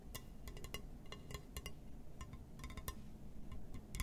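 A glass surface is tapped and scratched, giving a string of quick, bright clinks and ticks that die away almost at once. Underneath runs a quiet, steady low rumble.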